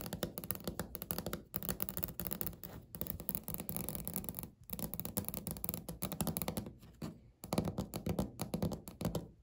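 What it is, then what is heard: Laminate countertop. Natural medium-length fingernails of both hands tap and scratch across a large, flat beige speckled laminate table or countertop with a solid-surface look. Rapid, dense flurries of short, dry taps and scratchy strokes carry mostly low-pitched body with little ring. Brief pauses break the flurries before they resume.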